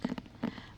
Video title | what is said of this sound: perhaps nice asmr sounds with a 3dio [VOD] | this is what it sounds like when I tap on the cover of the book.